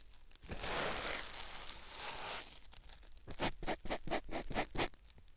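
A white rectangular melamine-type foam sponge block, held in the fingertips, is pressed and rubbed against a silicone ear-shaped binaural microphone. It makes a long, continuous, bright scratchy rub first, then quieter, and then about six short separate scraping strokes in quick succession.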